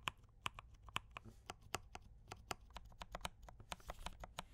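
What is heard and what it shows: Fingertips of both hands type rapidly on a D84 mechanical keyboard with brown switches and cream and red plastic keycaps. About twenty sharp, clacky keystrokes land in an uneven stream, each a short bright tap around 1 kHz that dies away almost instantly. A faint low rumble sits underneath.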